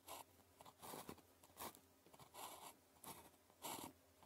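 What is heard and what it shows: The tip of a blue plastic ballpoint pen, held in the fingers, writes on a thin grid-printed paper calligraphy practice sheet lying flat on a desk. Short bursts of dry, bright scratching strokes rise and fall over a quiet background, with a crisp, high papery hiss on each stroke.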